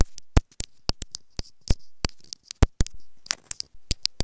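Long acrylic nails tap and scratch a small hollow white plastic inline remote microphone on a wired earphone cable lying on a fabric bed. About twenty sharp, dry clicks are heard, each with a bright top and a deep, boomy thump close to the mic. Short scratchy rustles fill the gaps between them.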